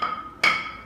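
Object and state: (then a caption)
Solidly bonded floor tile. A stick taps a granite kitchen floor tile during a handover inspection 15 days after laying. Two bright, sharp taps ring with a clear high tone and a short decay. The solid "paeng" sound shows full adhesive coverage under the tile, so it is acceptable.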